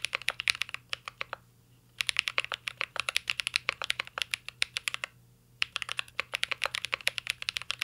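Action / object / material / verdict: tap / mechanical keyboard, plastic keycaps in a metal case / plastic / none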